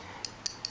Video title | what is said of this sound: Ganzo G732 Knife | there's a gap between the area on the pocket clip that contacts g10 and that's why when I tap this you can hear it